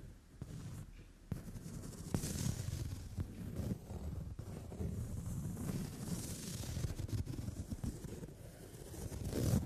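Long nails tap and scrape across the brown leather padded seat of a leather sofa, making a steady, dense, low-heavy rubbing and scratching texture. Sharp, short clicks cut through now and then, and the sound swells louder toward the end.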